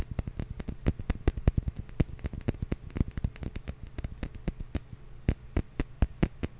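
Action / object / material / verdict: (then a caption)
tap / glass bottle / glass / none. A glass bottle is tapped repeatedly, some taps slow and others in quicker runs, giving dozens of short, clinking glassy taps. Each tap has a dull low thump with a faint high glassy ring that dies away almost at once.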